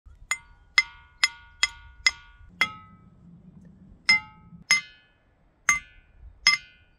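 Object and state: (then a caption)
Ringing rock. Boulders at the Ringing Rocks site in Montana are struck ten times in an irregular rhythm. Each strike gives a bright, metallic clink with a high pitch around 2 kHz, and the ring dies away quickly.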